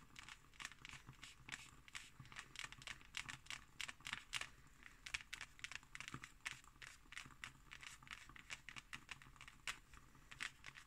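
Fingertips and long nails scratch and tap the embossed cover of a closed, thick hardcover book. The result is a steady, quiet stream of crisp, bright scratches and quick dry taps with almost no ring, set over a faint low hum.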